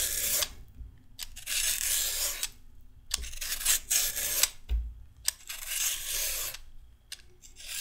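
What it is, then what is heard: Raw carrot being peeled. A red-handled peeler with a metal blade scrapes repeated strips off a single whole raw orange carrot, solid and about hand length, held over a wooden table piled with shavings. Each stroke gives a bright, hissy rasp, with short quiet gaps and faint low thumps between strokes.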